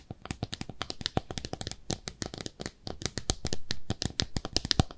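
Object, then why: Small ceramic soap dish. Long nails scratch and tap along the rim and sides of a small, pink, speckled ceramic soap dish shaped like a bathtub, held up hollow and empty. The result is a rapid stream of short, dry clicks and taps that stop almost instantly, mixed with brief bright scratches and a low, hollow knock under each tap.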